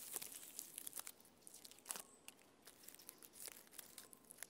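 Fingernails and fingertips scratch and tap the flaky bark of a standing tree trunk, making dry, crackly, bright scraping and crinkling sounds. Short, sharp clicks and rustles come in quick bursts, with little low end and almost no ring.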